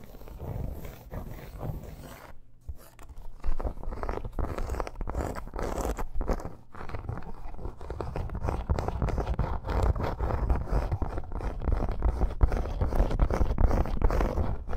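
Long nails quickly scratch and tap a red, snake-pattern embossed faux leather bracer resting on a fur rug. The result is a dense, low, rustling scrape broken by rapid, irregular taps, with a brief lull just after two seconds before the scratching picks up and grows slightly louder toward the end.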